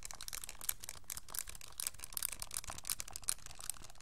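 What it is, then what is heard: Plastic calculator keys. Fingertips press and click the plastic keys of a pink TI-84 style graphing calculator with a hollow hard plastic case, held upright. A quiet, rapid run of short, dry, bright clicks and taps follows, each dying away almost at once with little low body.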